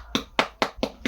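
A durian fruit is tapped five times in quick succession, each tap a short, dull knock with a hollow mid-range tone and a little bright edge that dies away almost at once. The fruit is judged ripe.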